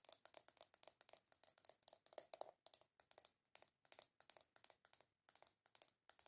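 Long acrylic nails rapidly tap and scratch the lid and sides of a small, hollow, round black plastic container, a jar or compact with a W logo. Dozens of quick, crisp, bright clicks come in dense bursts with short scraping bits between them, each dying almost instantly with no low end. The result is a quiet, dry, high-pitched clatter.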